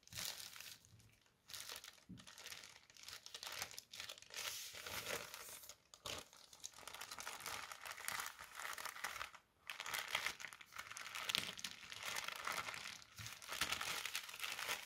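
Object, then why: Folded tissue paper. A folded strip of white tissue paper on a table is scratched with the fingertips, briefly lifted and crinkled, then laid down again. It makes a bright, dense, scratchy crinkling rustle with almost no low end, broken by a few short quiet gaps.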